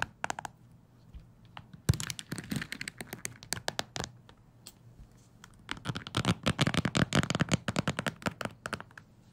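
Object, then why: Wooden hair brush with bristles. Fingertips scratch and flick the bristles of a wooden hair brush, making rapid, dry, crackly scratches and flicks. The sound comes in bursts: a brief flurry at the start, a denser run from about two to four seconds, and a long busy stretch from about six seconds on. Each flick is short with no ring, pairing a soft low thump with a bright, crisp snap.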